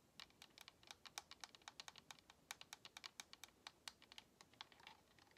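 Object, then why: Plastic game controller. Long nails tap quickly across the face and buttons of a white, hollow plastic Xbox controller while it is tilted. About 35 quiet, dry, bright clicks come in an uneven run, each dying away almost at once with very little low end.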